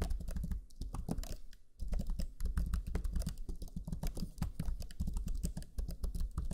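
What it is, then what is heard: Plastic laptop keyboard being typed on. Fingertips of both hands type rapidly on the low-profile plastic chiclet keys of a black Lenovo Legion 5 laptop keyboard. The clip is a dense stream of short, dull taps with a deep, muffled thud. There is a brief pause around the two-second mark before the typing resumes.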